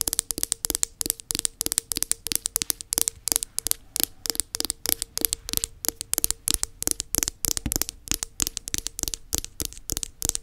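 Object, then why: Plastic tub base. Long nails scratch and tap the black plastic underside of a round plastic body butter tub. A rapid, steady stream of dry, bright clicks and scrapes, each dying away almost instantly, runs over a faint, steady low tone.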